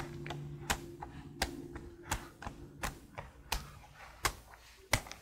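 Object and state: Plastic laptop keyboard.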